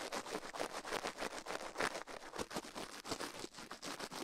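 Toothbrush bristles brush and scratch the right soft silicone ear of a binaural microphone, mounted on a metal mic plate, while the left ear is left untouched. Quick, uneven strokes make a dense, bright, scratchy rasp with very little low end.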